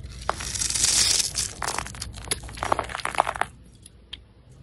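A utility knife blade scrapes scored cubes and strips off a solid green Marseille soap bar held in the hand. The result is a run of dry, bright crumbly scraping with sharp crunchy snaps that is dense for the first three and a half seconds, then thins to a few isolated clicks.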